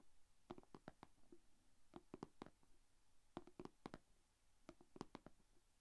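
Long painted fingernails tap on the closed lid of a small, shallow, rectangular clear plastic container holding glitter slime. Four quick bursts of soft, dry clicks come one after another, each tap short with no ring, over a faint low background hum.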